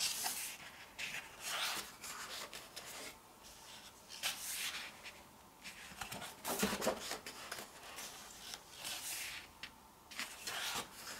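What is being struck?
Glossy paper photobook pages.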